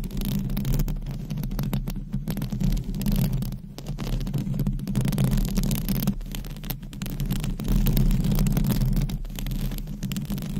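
Long acrylic nails scratch across a hollow metal mesh microphone grille. The result is a dense, irregular rasping and rubbing that reaches the mic mostly as a deep, boomy rumble with a steady low hum. Brief quieter dips break up the otherwise continuous scratching.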